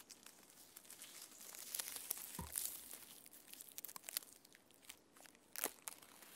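Both hands scratch the rough bark of a standing tree trunk with red-painted fingernails. The result is a quiet, bright, dry scratching and crinkling, with many short crackly scrapes and a few louder strokes near the middle and end.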